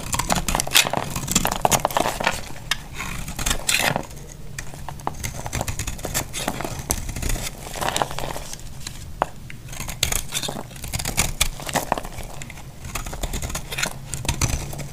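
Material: Soap.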